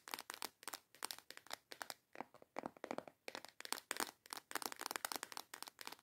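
A small transparent plastic storage box full of colorful false nail tips is tapped and scratched on its front with long yellow acrylic nails. Quick, dry clicks and scratchy bursts come in rapid irregular clusters, crisp and bright with no low end and almost no ring after each hit.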